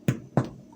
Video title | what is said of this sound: Erwin Gaa making no knead bread | you knock on it and it sounds empty